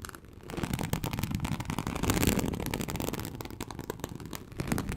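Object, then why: Embossed leather sheet. Very long acrylic nails on both hands scratch a large, flat, teal snakeskin-embossed leather sheet, likely faux, lying on a surface. The result is dense, rapid, crackly scratching with a heavy low rumble and brighter clicks, swelling in the middle and again near the end.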